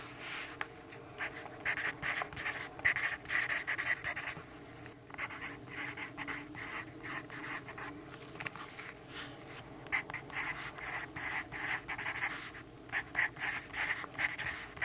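A graphite pencil held in the right hand scratches across the page of an open lined paper notebook lying flat on a wooden table in sunlight, while the left hand's fingertips hold the page. Quiet, dry, bright scratchy strokes come in short irregular bursts, with a brief pause near the five-second mark before the writing resumes.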